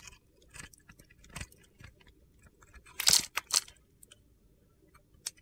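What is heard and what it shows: A metal utility knife blade shaves the dark glitter coating off a solid white soap bar held in hand, peeling it away in flakes. Short, crisp, gritty scraping crunches come in scattered bursts, with the loudest cluster near the middle of the clip.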